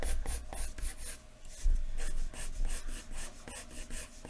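A wooden graphite pencil is rubbed firmly across a large, thin white paper sheet lying flat on a wooden desk, shading dark hair. Repeated scratchy, rasping strokes with bright, hissy edges sit over a low, steady rumble, swelling and fading as the pencil moves back and forth.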